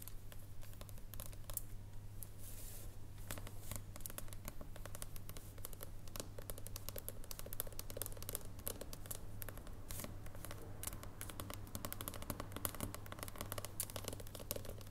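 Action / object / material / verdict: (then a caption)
tap / dark chocolate bar on foil / chocolate / none. Long purple nails tap and scratch an unwrapped solid dark chocolate bar resting tilted up on foil, producing rapid, uneven clicks and scratchy scrapes. A steady low hum sits beneath the quiet tapping throughout.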